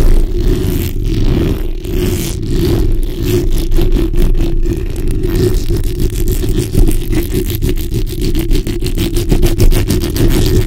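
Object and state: Metal mesh microphone grille being scratched.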